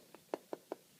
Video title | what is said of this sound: Fuglekutting | inni her er det bein. Sant? Ikke veldig hardt, men det er bein.